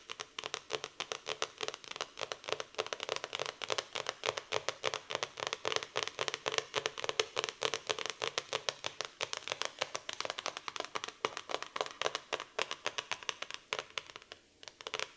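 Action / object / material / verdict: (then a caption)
tap / hardcover notebook with cardboard cover / cardboard / none. Long painted nails rapidly tap and scratch across the glossy cardboard cover of a black floral hardcover notebook with a solid paper block. The result is a dense stream of sharp, dry clicks and scratchy swipes, bright with no low end, and each hit dies almost instantly. The pace stays steady, then thins out near the end.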